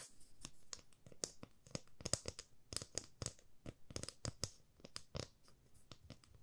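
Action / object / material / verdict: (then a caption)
tap / wooden ruler tapped with fingernails / wood / none. A 30 cm solid light wooden ruler with a printed scale is held in both hands and tapped with long fingernails. The result is a rapid, uneven run of dry, crisp clicks with bright edges and a light woody thump, each tap dying away almost instantly.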